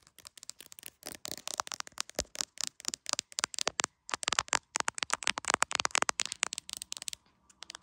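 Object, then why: Smartphone in a clear plastic case. Long acrylic nails rapidly tap the edge and back of a hand-sized, solid iPhone in a clear plastic case, seen clearly in a mirror. About 45 sharp, bright plastic clicks come in quick, uneven bursts, with almost no low end and no ring after each tap.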